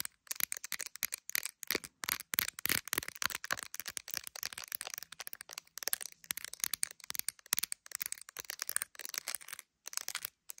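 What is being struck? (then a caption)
Smartphone in clear plastic case. Long acrylic nails rapidly tap and scratch the back of a handheld iPhone's clear plastic gummy bear case near the camera lenses. The result is a dense stream of quick, dry, bright clicks and scratchy ticks with almost no low end and no ring after each tap, broken by brief silent gaps.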